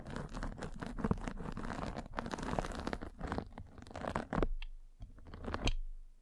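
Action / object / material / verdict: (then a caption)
scrape / fabric mesh net over a microphone, rolled with a spiked roller / fabric mesh / none. A metal-spiked derma roller is rolled across a fine white fabric mesh net pulled over a microphone. It makes a dense, scratchy crunching with quick bright crackles over a low rumble. The sound thins out near the end, then ends on one last sharp crunch.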